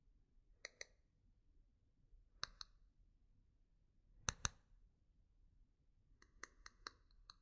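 Long nails and fingertips tap and scratch along the shaft of a single solid, yellow-painted hexagonal wooden pencil held between both hands. Ten short, dry, bright clicks come in quick pairs spaced apart, then a faster cluster at the end, over a faint low background hum.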